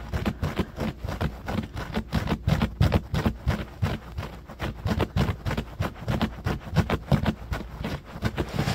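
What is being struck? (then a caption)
Low-pile carpet. Short fingernails of both hands scratch fast across a low-pile beige carpet on the floor. The result is a rapid, uneven run of short, dull scratching bursts, roughly three per second, with most of the energy low and very little brightness.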